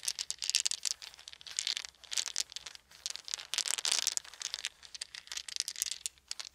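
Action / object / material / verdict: shake / small wooden beads / wood / none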